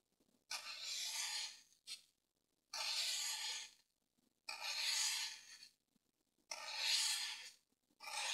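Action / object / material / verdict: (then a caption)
scrape / dry floral foam block / floral foam / none. A green-handled pointed tool scratches and carves diagonal grooves into a solid grey dry floral foam brick held down with fingers. Six separate bright, airy rasping strokes are heard, mostly long and evenly spaced, with one short scrape, separated by brief near-silent gaps.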